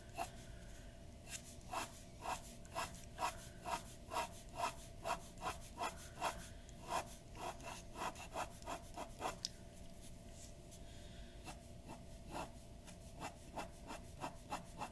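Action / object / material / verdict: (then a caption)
scrape / paper sheet scratched by a glass dip pen nib / paper / none. A glass dip pen nib scratches short hatching strokes across a white paper sheet resting on a wooden desk. Quick, evenly spaced dry scratches with a bright edge sound at roughly two strokes per second, with a brief pause midway, over a faint steady hum.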